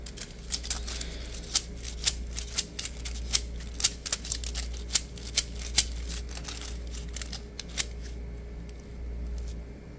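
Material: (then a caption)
Plastic. A green plastic diamond-mesh net sleeve, hollow and stretched into a ball shape, is tapped and scratched with fingertips and short nails. Quick, bright clicks and taps stand out over a soft, crackly scratching and a steady low hum. The tapping thins out near the end and leaves mostly the hum.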